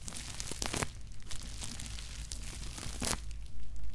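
Fingertips and nails tap and scratch across the plastic-wrapped lid of a bubble-wrapped cardboard Nike shoebox resting on a cork mat. Soft crinkling and scratchy rustles are broken by brighter crackling bursts, with a steady low rumble underneath.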